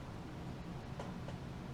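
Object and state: Nothing is struck.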